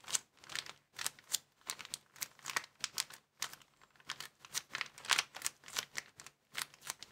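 A small, empty, folded white plastic bag is held in both hands above a wooden table while fingertips squeeze and crinkle it. The result is a quiet run of rapid, crisp, bright crackles with almost no low end. Each burst fades almost instantly.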